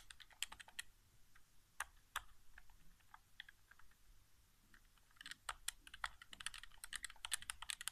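Fingertips tap rapidly on the buttons of a hollow white plastic PS4 game controller resting on carpet. Quick, irregular, dry clicks ring bright and die almost instantly. A sparse, quieter middle stretch gives way to a denser flurry of taps at the end.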